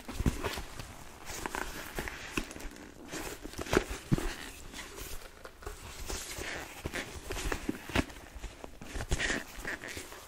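Long nails and fingertips scratch and tap the glossy upper of a hollow, empty black smooth leather Dr. Martens-style boot with a buckle strap and yellow stitching. Short, dry taps with low, hollow thumps stand out over a soft, continuous scratching rustle, and each tap dies away almost at once.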